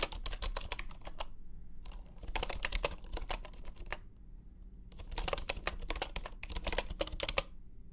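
Both hands type with their fingertips on a full-size bamboo wooden computer keyboard resting on a grey mat. Quick bursts of short, dry, bright key clacks come in runs separated by brief pauses, over a steady low background rumble.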